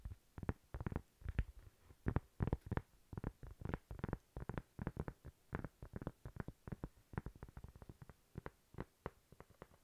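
A thin, flat, toast-shaped solid cork coaster held in the hand is tapped and scratched with long nails. The result is a quick, uneven stream of soft, dull, muffled taps with mostly low-end weight and no ring, over about ten seconds.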